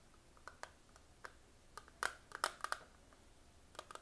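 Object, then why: Plastic eyeshadow palette. Fingernails tap rapidly on the lid and sides of a small, hollow, closed eyeshadow palette with a clear patterned plastic lid, held in both hands. About twelve quiet, crisp plastic clicks come in an irregular rhythm, each bright, hollow, and dying away almost instantly, with a cluster of louder taps near the middle.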